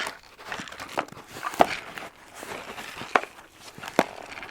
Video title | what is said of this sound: ASMR Unboxing New Spices (soft speaking, cozy tapping) | you can hear things moving around a little bit in there